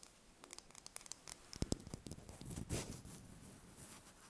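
A small whole brown hen's egg, held in the hands and brought close at the end, is tapped and scratched with long fingernails. Quiet, dry clicks and light taps patter unevenly, then a louder, bright rasping scratch swells and fades into a soft, scratchy hiss.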